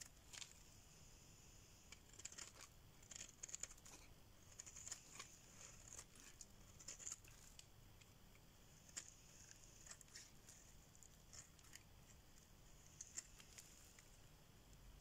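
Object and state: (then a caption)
Dry soap bar being scraped. A solid, pale cream, rectangular bar of dry soap is held in the hand and scraped with a metal blade, with the shavings piling up on a surface. The clip is quiet, made of brittle, bright scratching strokes and crisp little crackles and ticks that die away at once, over a low steady hiss.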